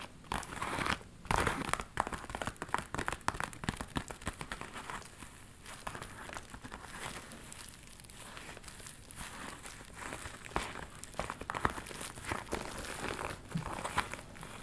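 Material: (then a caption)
Faux leather. A small, hollow hot-pink metallic faux leather handbag with a ruffled flap is scratched and rubbed with long nails close to the mic. The result is a dense stream of crinkling, crackling and scraping textures with sharp tapping transients scattered throughout.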